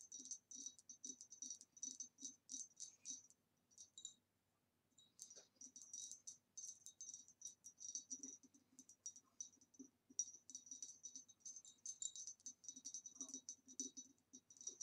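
Long nails on both hands tap rapidly over the ribbed sides of a hollow, empty, upright green ribbed glass vase. The result is dense, quick, bright clicking with a short high glassy ring on each tap and a faint low thud beneath, broken by a brief pause near the fourth second.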